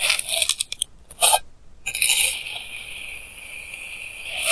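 A clear plastic knife edge cuts repeated lines through a flattened mound of pink kinetic sand. A run of quick, crisp, high crunchy scrapes gives way to a brief near-silence, then one long, steady, bright hissing scrape that swells again at the end. There is almost no low end.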